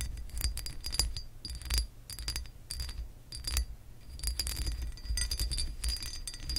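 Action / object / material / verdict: scrape / embossed glass lamp base / glass / none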